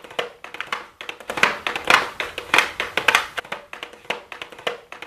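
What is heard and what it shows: Super long blue acrylic nails rapidly tap a pink "MAKE STUDIO" cardboard makeup palette box with a clear plastic window, held in the hands. The result is a quick, uneven run of dry, bright clicks with a hollow papery tone centered around 1 kHz. Each tap dies away almost at once, with no low rumble.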